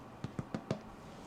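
Four knocks on a smaller baked loaf of maritime molasses brown bread topped with oatmeal produce short, hollow, low thuds with quick decay. The hollow sound shows the loaf is finished baking, and an internal temperature of 205–206°F confirms it is done.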